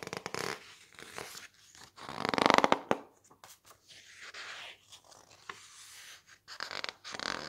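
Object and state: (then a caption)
Glossy paper book page. An open softcover glossy-paper magazine book with thick glossy pages is handled as the palm and fingertips press and rub a page, then flip it. Dry, crinkly rustles and scratchy squeaks come in short, uneven bursts, with a louder, brighter swell of squeezed paper early on. This is followed by softer rubbing and quick page sweeps.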